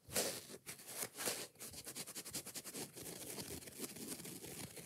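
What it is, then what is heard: Foam kitchen sponge with scouring pad. Long nails tap and scratch a yellow foam kitchen sponge, then its green scouring pad, with a few loud, bright bursts followed by fast, dense scratching. The sound is a dry, crinkly rasp with a lot of high, hissy texture and little low end.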